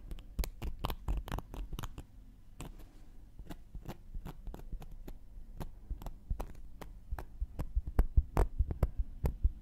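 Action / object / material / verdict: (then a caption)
scrape / cork coaster poked with a wooden needle / cork / none. A thin wooden knitting needle pokes and scratches the surface and edge of a round, flat, solid cork coaster held in one hand. Quick, dry, irregular taps and scratchy clicks repeat over a low, steady hum, growing somewhat louder toward the end.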